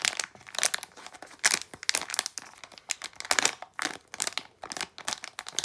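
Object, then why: Small plastic foil bag with contents. A small plastic foil blind bag with contents inside is rubbed and crinkled between fingers and long nails. The result is a rapid series of sharp, bright crinkles and crunches with no low end, each cutting off almost instantly.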